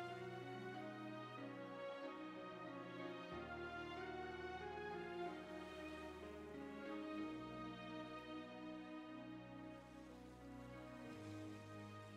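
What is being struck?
Nothing is struck.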